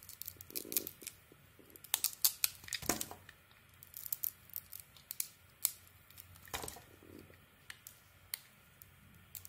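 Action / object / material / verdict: scrape / bar soap with a painted coating / soap / none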